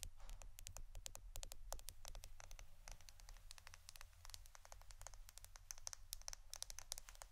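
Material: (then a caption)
Plastic. A roll of plastic adhesive tape is tapped and scratched for ASMR, giving a fast, quiet run of short, bright clicks with very little ring. A soft, scratchy rustle fills the gaps, over a steady low hum.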